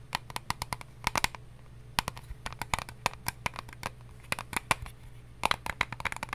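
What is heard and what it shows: An eyelash case is tapped in quick, irregular bursts of short, dry clicks that sound bright and crisp, with a slight knock around 1 kHz and almost no ring after each hit. A low steady hum runs underneath, and no voice is heard.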